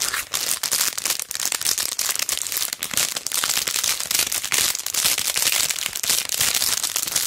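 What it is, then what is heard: Plastic-sleeved sticker sheet being crinkled. A flat, rectangular silver chain-look jewel sticker sheet on a backing card, inside a clear plastic sleeve, is held in both hands, bent and crinkled while long dark nails rub the plastic. The result is dense, continuous, bright crinkling and crackling with almost no low end, fluctuating in loudness throughout.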